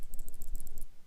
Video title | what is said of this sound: WEBER 38 DGAS CARB REBUILD .. Part Three .. The Build Up (Finally!) | there is a little ball bearing in there give it a shake make sure you can hear it move